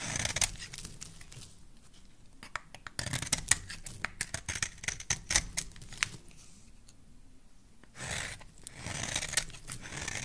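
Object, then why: Bar of soap cut with a metal blade. A solid bar of soap with a green rim and a cream interior is held in the hand and carved with a metal blade. Crisp, bright scraping and sharp little snaps of the blade cutting through the soap come in quick bursts, separated by quiet pauses. Longer, rougher rasping strokes follow near the end.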